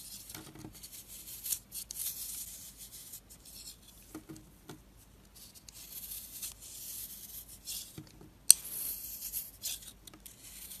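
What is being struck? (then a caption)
Soap bar carved with a blade. A utility-knife blade scrapes and carves the surface of a round, solid bar of dry orange and purple marbled soap held in the hand, throwing off crumbly flakes. The result is soft, bright, dry scraping and rasping strokes with short pauses between them. One sharp click stands out near the end.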